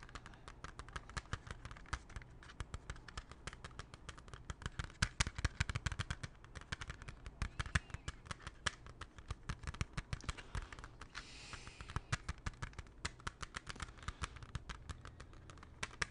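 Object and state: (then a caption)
Plastic CD jewel case. A closed, small, hollow hard plastic CD jewel case, held at chest height, is tapped and scratched with fingernails. The result is a quiet, steady stream of rapid, dry clicking taps that die away instantly over a low hum, with a brief brighter scratching stretch near the twelve-second mark.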